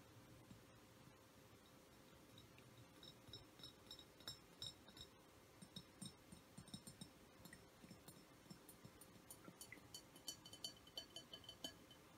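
Soft tapping on a glass essential oil diffuser produces quiet, irregular clinks with bright, short-ringing tones over a low background hum. The taps start sparse and grow busier in the second half of the clip.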